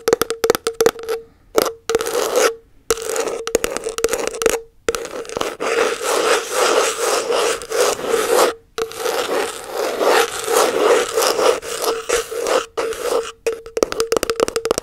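Long nails scratch and rub the plastic lid and rim of a round body butter tub with a printed label. The result is dense, dry scraping in quick bursts broken by short silences, with a steady resonant tone near 460 Hz and bright, crackly texture.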